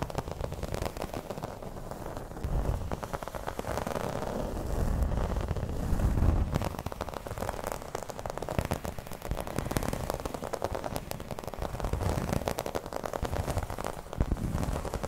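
Long red nails scratch and tap across a flat, round, dark green embossed placemat, probably vinyl. The result is a steady, dense crackle of rough scratching with a heavy low rumble, swelling louder around the middle and again near the end, with quick dry taps scattered throughout.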